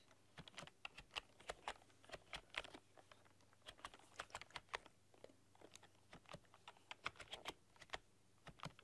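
Long dark-polished nails and fingertips type on a full-size plastic computer keyboard with black keycaps and a rainbow RGB backlight, pressing and clicking the keys. The result is a quick, uneven run of bright, sharp plastic clicks and taps that stop almost instantly, over a faint steady low hum.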